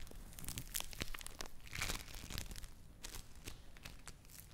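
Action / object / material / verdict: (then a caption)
scrape / play foam lump of foam beads / foam beads / none. A yellow lump of play foam (foam bead clay) is kneaded, squeezed and torn with fingers and long nails close to the mic. It gives a dense run of soft, bright crinkling and crunching pops with quick tearing rasps and a low rumble under them.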